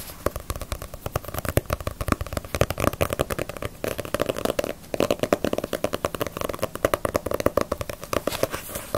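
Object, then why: Paperback book with glossy paper cover. Long nails tap rapidly on the glossy paper front cover of a small, solid Bleach paperback manga volume. The result is a steady stream of dense, crisp clicks with a hollow papery tone around 590 Hz. Each tap dies away almost instantly, with soft low thumps underneath.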